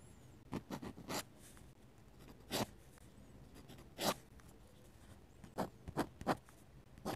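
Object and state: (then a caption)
Paper sketchbook page under a pen nib. A dip pen with a metal nib scratches and taps ink lines onto the thin paper page of an open sketchbook lying flat, with a lavalier mic resting nearby untouched. Short, bright, raspy scratch strokes come in small clusters separated by quiet pauses, each stroke stopping dry with almost no ring.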